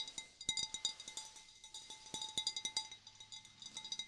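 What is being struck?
Glass vase.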